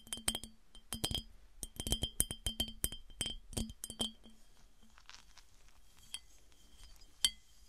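A smooth glass piggy bank is tapped with the fingernails, giving bright, glassy clinking taps with a short ringing tone around 3 kHz. The taps come in quick clusters for about four seconds, then thin out to a few soft, scattered taps and one sharp final clink.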